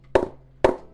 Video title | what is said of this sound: Hitman Assassin LE Cricket Bat Review | that area there, it's pretty dead